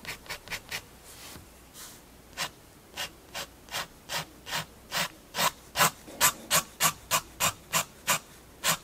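A fineliner pen tip scratches about 20 repeated hatching strokes across a page of a spiral-bound paper sketchbook. Each stroke is a short, dry, bright rasp. They are separated by brief pauses, with a softer, duller rub partway through, and the strokes grow louder toward the end.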